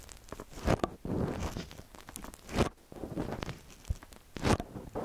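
Long nails and fingertips scratch and tap the tops of the two silver capsules on a small metal X/Y stereo microphone on a white stand. The result is close, crunchy scraping and rustling in irregular bursts, with dull low thumps from the taps and brief brighter scratches.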